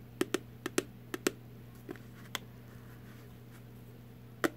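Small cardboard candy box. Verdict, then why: Empty. Long artificial nails tap on an empty little cardboard Warheads candy box. The taps are short and dry, with a hollow knock around 370 Hz and quick bright clicks, coming in quick pairs and then spacing out over a steady low hum.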